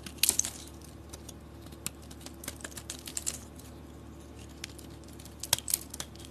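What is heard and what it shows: A hand-held rectangular solid orange soap bar with green edges is carved and scraped with a metal blade, curls falling off. Short, crisp, bright scraping ticks come in small bursts over a faint steady background hum, with a louder cluster near the start and another near the end.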